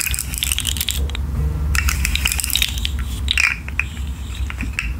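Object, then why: Articulated plastic fidget slug toy. A rainbow articulated plastic fidget slug has its segments bent and twisted by hand with long nails, producing rapid bursts of sharp, bright clicking and crackling. A steady low hum sits underneath, and the clicking briefly thins out around the first second and a half before resuming densely.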